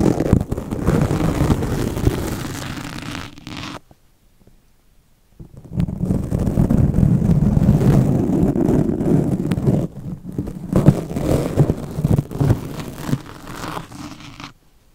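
Steel double-edge razor blades, held in the fingertips, scratch and slice into the soft foam of a heavily cut black foam microphone windscreen. The result is dense, low, rumbling scratching, concentrated mostly below 200 Hz with little brightness. It breaks for a silent gap of about a second and a half near the four-second mark, then dips briefly around ten seconds before fading out.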